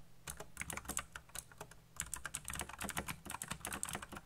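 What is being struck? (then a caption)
Plastic mechanical keyboard keys. Fingertips type very fast on a backlit plastic mechanical keyboard with black plastic keycaps, producing a dense, uneven run of short, crisp clacks. The bright key clicks decay almost instantly over a faint, steady low hum.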